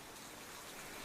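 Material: Nothing is struck.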